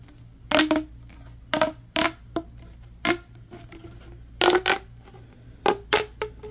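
A yellow, ribbed, hollow corrugated plastic tube is held horizontally while hands bend and stretch it and rub along its ridges. This produces a series of short, bright, crackly ridge clicks in separate bursts, some with a faint hollow ring. A steady low hum runs underneath.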